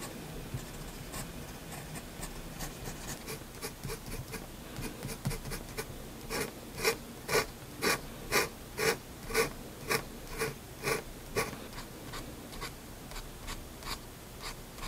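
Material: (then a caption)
Paper. A hand-held steel fountain pen nib scratches hatching strokes across a flat white drawing paper sheet. Soft, steady scratching builds into a run of about ten louder, evenly spaced strokes, each a short, bright rasp with a faint tone near 450 Hz, before easing back to quieter scratching.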